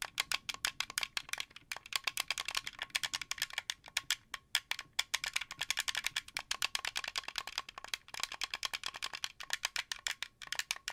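Fingertips and nails rapidly tap the white face buttons and thumbsticks of a translucent blue, hollow plastic Xbox 360 controller. The result is a steady stream of quick, bright plastic clicks, each one dying almost instantly, with no low end beneath them.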